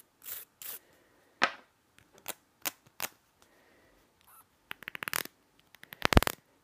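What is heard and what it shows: Sharp, dry taps on a plastic item come in uneven bursts, each ending almost at once. Near the end they speed up into a fast flurry of clicks. Faint scratchy hiss fills some of the gaps.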